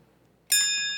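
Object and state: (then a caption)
Small bell ringing clearly, in working order. A small metal bell on a pulpit is rung once, giving a single clear, high, bright ding with shimmering overtones that rings on for about half a second. The bell sounds clearly and works as it should, showing that a bell is only fit to be a bell when it makes its proper sound rather than none or a dull, muddy one.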